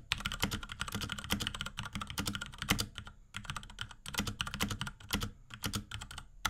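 A small pink Akko X Ducky 3084 mechanical keyboard with Cherry MX Brown switches, plastic keycaps and a plastic case, is typed on rapidly with the fingertips of both hands. Quick, clacky key presses run in dense bursts with short pauses, each click short with a bright top and a low plastic thock beneath.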